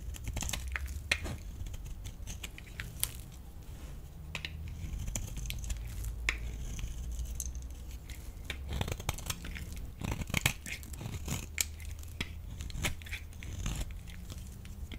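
A solid rectangular pale yellow bar of dry laundry soap, held in the palm, is scraped and cut with a metal utility blade. Dry, crisp scraping and crumbly cutting sounds recur throughout, with short, bright clicks and snaps over a low steady background hum.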